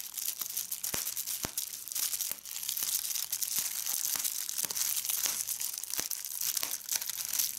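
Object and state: Plastic bubble wrap.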